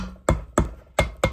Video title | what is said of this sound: Kan vevaxeln räddas? Gehl 4600 del 5 | Jeśli trochę w nie postukam, czuję, jak to, co słyszysz, prawie brzmi, że one, że tak, te całkiem sporo